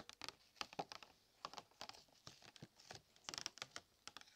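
Fingers tap on the packaging of new Christmas decorations, tapped for the pleasing sound it makes. A quick, irregular run of about twenty light, dry taps gives crisp, bright clicks with a faint crinkle and almost no low end or ring.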